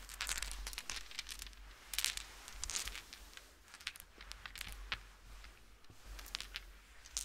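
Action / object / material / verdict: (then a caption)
scrape / fleece blanket / polyester fleece / none. Fingertips and short nails of both hands scratch and rub across the pile of a large, soft purple plush fleece blanket laid flat, leaving swirl marks. Dense, bright crinkly scratching comes in quick bursts over a low steady hum.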